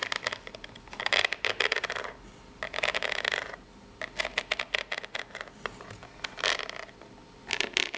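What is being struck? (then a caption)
Corrugated cardboard box. Long nails tap and scratch the ribbed top of a small, hollow, brown corrugated cardboard box. Bursts of bright, dry scratching and quick papery taps alternate with quiet pauses.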